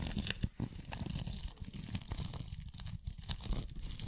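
A glitter- or bead-covered masquerade mask held over a microphone is scratched and tapped with long acrylic nails on both hands. The result is a steady stream of dense, crackly scratching and crinkling, with dull low thumps from the taps and scattered bright, gritty ticks from the glitter surface.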